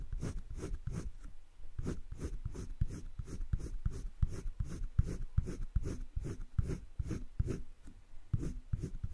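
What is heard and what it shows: A colored pencil shades the inside of a heart on flat cream drawing paper in a wire-bound spiral sketchbook, making repeated back-and-forth strokes. About twenty soft, dry scratching strokes come in a steady rhythm, each short and low-pitched with a faint bright hiss and no ringing.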